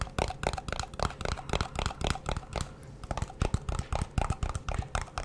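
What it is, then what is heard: Metal cream tin. Fingertips and nails quickly tap and scratch the lid and sides of a small, round, hollow blue metal Nivea cream tin held in both hands. The result is a rapid, uneven stream of short, dull, hollow taps with a low thud and almost no ring, mixed with faint scratchy brushing.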